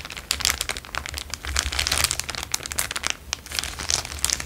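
An empty, thin, transparent plastic bag is held in both hands and crinkled and squeezed with the fingertips. This produces a continuous stream of bright, crackling crinkles with quick sharp snaps that die away almost instantly, over a faint low hum.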